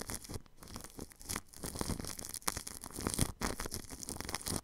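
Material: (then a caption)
Plastic film. A paintbrush sweeps over plastic cling film wrapped across a ball microphone's grille. The result is a close, crinkly, scratchy brushing sound in repeated strokes, with a low thump underneath and bright crackle on top, broken by brief quiet gaps.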